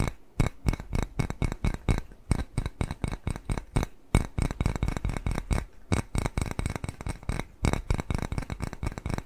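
A small white glazed ceramic bowl shaped like a cat face, hollow and empty, is held upright and scratched and tapped with fingernails. The result is a rapid, uneven run of short, dull, low-pitched taps with faint bright scratchy edges and almost no ring. Brief pauses fall around the four- and six-second marks.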